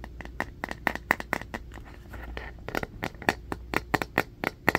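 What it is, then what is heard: Bamboo paddle hairbrush. A striped bamboo paddle hairbrush with black bristles, held in the hands and then set on carpet, is scratched by fingernails along its wooden back and edges. About twenty quick, dry scratches with a bright, papery edge centered near 1.9 kHz die away almost instantly. A softer, steadier rubbing stretch in the middle breaks up the run of taps.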